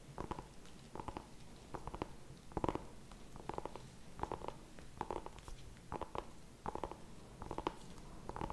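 Fingertips and nails tap and scratch the skin of a small whole orange pumpkin held in both hands in front of the mic. Quiet clusters of short, dry, hollow taps recur every half second or so, with a soft scratchy texture in between. The sound is mostly low and mid tones with little brightness.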